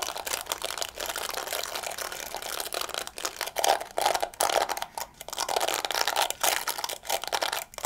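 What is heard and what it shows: Fingertips scratch and flick the soft bristles of a small, handheld pink and yellow plastic scalp massager and tap its body. The result is a dense, dry, crinkly scratching that is bright and thin with no low end. It is broken by brief pauses and slightly louder bursts of flicking.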